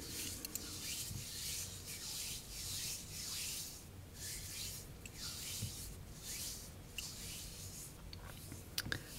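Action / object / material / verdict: scrape / block of gym chalk (magnesium carbonate) / chalk / none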